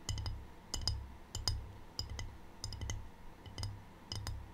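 Long painted fingernails tap a small, empty, rectangular white glazed ceramic tray with a black triangle print, held close to the mic. Bright, clicky ticks come in quick uneven bursts, each dying away almost instantly, over a steady low rumble.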